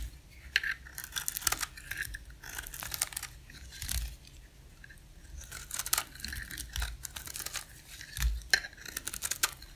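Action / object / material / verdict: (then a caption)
scrape / round soap bar / soap / none. A palm-sized, dry, round cream soap bar with an embossed logo is shaved flat with a box-cutter blade. The result is a run of crisp, bright scraping and crumbling bursts with a dry, tearing texture and faint low thumps, set apart by short pauses.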